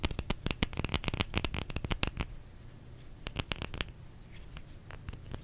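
A bar of soap is tapped with quick, dry, clicky strikes that sound sharp and bright and die away almost instantly. A fast flurry of taps fills the first two seconds, then after a brief lull a few sparser, slightly softer taps follow.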